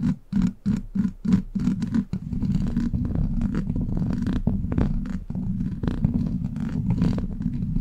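Long black plastic claw nails tap and scratch on a hollow steel mesh microphone grille. A quick run of separate taps is followed by continuous close scratching, with most of the energy as a low, muffled rumble and only faint high hiss.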